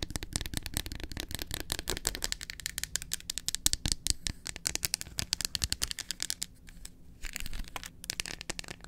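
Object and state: Dark chocolate bar.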